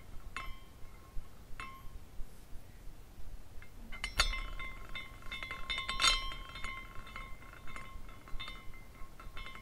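A small glass carousel figurine spins while its glass horses clink against the poles. The result is an irregular series of bright, tinkling glass chimes with short ringing tones, steady around 1 kHz and higher, over a quiet low background.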